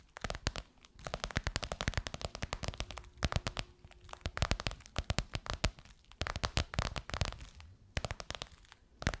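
Long white nails tap and scratch the top and edge of a golden crocodile-embossed faux leather pillowcase over a soft pillow. Dense bursts of quick, dry clicks and crinkly scratches come in clustered runs with brief pauses. Each hit is sharp and dies almost instantly, with a low thump under a bright, crackly top.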